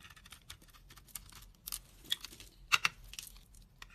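A utility knife blade cuts and scrapes chunks and flakes off a solid, dry white bar soap with a red coating, mostly peeled to its white core and held in hand. Bright, dry crackly scraping and crisp snapping cuts come in quick, short bursts with almost no low end, the sharpest snaps near the end.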